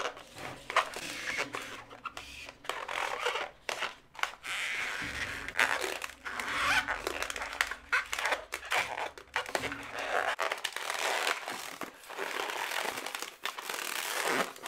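Long natural nails and fingers twist and scratch a long, inflated blue latex modelling balloon, hollow and air-filled. Steady squeaky rubbing, crinkly scratching and short taps run throughout, bright and dense with almost no low end.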